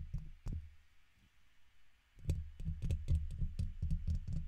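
A red plastic guitar pick held in the fingers scratches the sides of the hollow woven metal mesh head on a silver condenser microphone. Two scrapes, then a quiet pause, lead into a quick, somewhat uneven run of strokes. Each stroke is a deep, boomy thump with a brief bright scratchy click on top.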